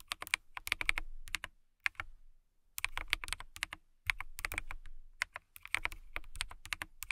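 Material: Plastic.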